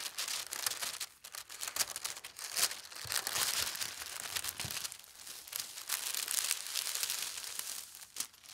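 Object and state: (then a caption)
Tissue paper sheet. A large, thin white tissue paper sheet lies on a fabric tablecloth while an edge is folded over, then flat hands with long red nails smooth and rub across it. The result is a steady, bright crinkling and rustling with quick soft swells and almost no low end.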